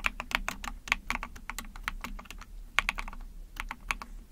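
Rapid typing on a small 44-key Epomaker TH40 mechanical keyboard with an ABS plastic case, PC plate and backlit pink and white keycaps, using long painted nails and fingertips. About twenty quick, bright, clacky key presses sound in an uneven rhythm, each dying away almost instantly, over a faint steady low hum.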